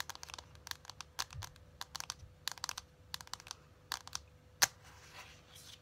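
Long acrylic nails tap and click across the printed cardboard sleeve of a closed, hand-sized, flat rectangular cardboard eyeshadow palette. About twenty quick, bright, dry clicks come in uneven bursts, with one sharper, louder click near the end. A soft, scratchy rustle follows over a faint steady hum.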